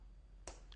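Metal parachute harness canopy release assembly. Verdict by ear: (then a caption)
Solid. The metal right canopy release assembly on a T-10 parachute harness is tapped with the knuckles of the left hand during a jumpmaster inspection, to check that it sounds solid. A single sharp, bright click rings out briefly over a low hum and is followed by a fainter tick. The assembly sounds solid.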